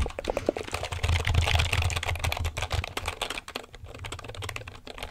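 A black plastic computer keyboard is held vertically in front of the mic while fingertips press and tap its keys. The result is a rapid, uneven run of crisp clicks and clacks over a deep low thump, loudest in the first few seconds before easing to softer tapping.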